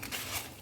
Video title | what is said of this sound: Housewife Busy Routine Vlog-Itnay din bd Video kyun Upload ki?🤔Halaat boht Xyada Kharab hogaey hain😟 | इतनी अच्छी crispy free आवाज से पता चल रहा होगा